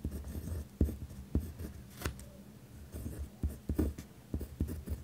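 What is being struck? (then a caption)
Pen on paper notepad. A pen tip scratches firmly across a white lined paper pad resting on a wooden desk while writing. The sound is a dense, low-heavy scratching broken by sharp taps as the pen lifts and strikes the page.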